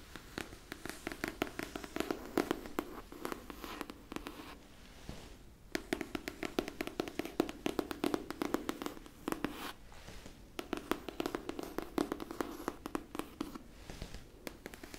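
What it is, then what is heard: Cloth-covered hardcover book. Long pink nails tap and scratch the cover of a solid pink cloth-covered hardcover book held upright near the face. Quick, dry taps mix with soft rustly scratching in rapid bursts. The bursts are broken by brief pauses near the five-, ten- and fourteen-second marks.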